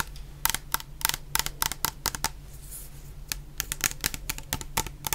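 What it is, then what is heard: Plastic shower gel bottle tapped with nails. A medium clear plastic bottle full of orange shower gel is tapped with long painted nails in quick, irregular bursts. Each tap is a short, bright click with almost no ring, over a steady low hum.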